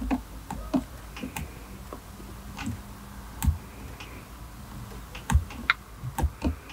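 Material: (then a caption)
Leather. Fingertips with short nails tap and scratch a solid, hand-sized dark perforated leather knob on a car automatic gear selector, and the area around its leather boot on a silver console. The result is a quiet series of short, dull, low-pitched taps that stop almost at once, with faint scratching in between.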